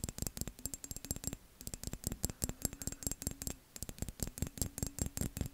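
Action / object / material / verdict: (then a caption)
tap / textured glass vase / glass / none. Fingernails scratch and tap quickly along the ridged, embossed surface of a tall, hollow, empty dark-blue textured glass vase held up by hand. The result is a fast, uneven stream of sharp clicks and scratchy taps. Each one carries a faint high glassy tinkle and a soft low knock, and dies away almost instantly.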